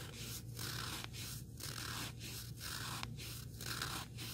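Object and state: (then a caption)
Sanding sponge block. Fingertips and nails scratch across the abrasive face of a small, solid, black rectangular sanding sponge block. The result is a quiet, steady run of rough, hissy scratching strokes with brief gaps between them, over a constant low hum.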